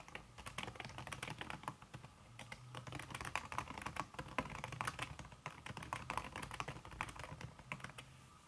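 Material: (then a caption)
Silicone, plastic. Long red fingernails tap rapidly across a backlit laptop keyboard set in a silver aluminum body, its keys covered by a thin red silicone skin. A dense stream of short, dry clicks and taps is heard, with bright clicky edges over a soft low thud beneath each keystroke, in steady fast typing with brief pauses.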